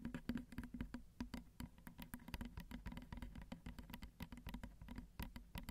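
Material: Metal, plastic.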